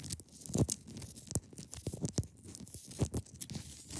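Long pointed nails scratch across the top of a large, solid, clear ice block resting on a fabric surface. The result is a run of quick, irregular scratchy crunches, each with a dull low thump and a short bright hiss, that die away almost immediately.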